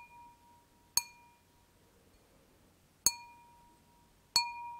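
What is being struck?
Thin stemmed wine glass.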